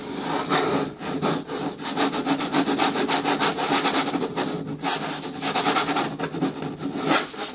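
Long nails scratch back and forth along the side edges of a hollow, hard green plastic bin with a lid. The result is a steady run of raspy, bright scraping strokes over a faint hollow resonance in the plastic.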